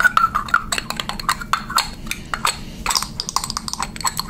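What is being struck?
Plastic pump bottle tapped with fingernails.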